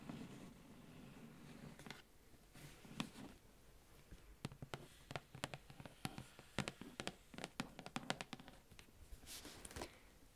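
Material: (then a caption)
Cardboard. Long orange nails tap on the front of a large, flat, hollow cardboard advent calendar box in plastic shrink wrap. The taps come as quick, dry, clicky strikes that die away almost at once, with softer rustling between them. The tapping is faint and irregular, in scattered bursts across the clip.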